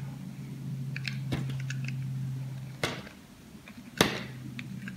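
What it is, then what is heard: Bar soap being shaved. A small knife shaves thin slices and chunks off a solid cream-beige bar of soap held in the palm. Crisp, crunchy cuts with bright scraping edges sound over a steady low hum, with the sharpest snaps near the middle and end.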